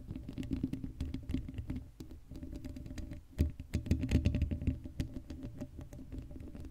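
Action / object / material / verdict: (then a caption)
scrape / woven metal mesh microphone grille / metal mesh / none. Long blue acrylic nails on both hands scratch across the hollow black woven metal mesh grille of a Blue Yeti microphone head with no foam cover. A dense, irregular patter of rough scratches sits mostly in the low range with a boomy body and no bright sparkle. It eases briefly near the two-second mark, then grows louder and busier in the middle before settling back.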